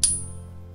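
A fake proof-style coin held in a pocket coin tester is flicked once, giving a short, dull ping with a thin high tone that fades within a fraction of a second, over a low background hum. It does not ring like real silver, marking the coin as a fake.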